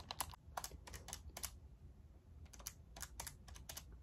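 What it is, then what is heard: Plastic graphing calculator, hollow casing. A pink and white plastic graphing calculator with a hollow casing is tapped with long nails on its back, keys and sides while being rotated in hand. About 13 quick, bright, clicky taps come in uneven bursts, each dying away almost instantly over a faint low rumble.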